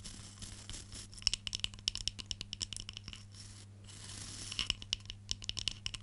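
Long nails scratch and rake through the black bristles of a wooden hairbrush held up in the air. Dry, bright, crackling scratches come in rapid runs of sharp clicks over a faint low hum, with a brief quieter pause in the middle.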